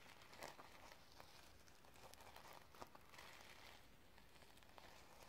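Long nails scratch and brush the sequins on a sequin-covered notebook held up in the air. The result is a quiet, steady crinkly rustle with brief bright ticks and clicks scattered through it.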